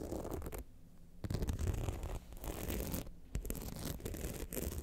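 Long nails of both hands scratch down the rhinestone-studded front of an upright, hollow rhinestone-covered clutch bag. The result is a rough, gritty scratching in uneven bursts with brief quieter pauses, heavy in low rumbling tones and lacking much bright edge.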